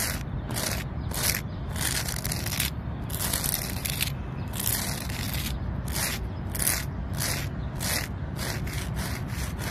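Long nails scratch and rub the rough, speckled bark of a large, solid tree trunk. Repeated bursts of dry, bright scraping sound over a steady low rumble.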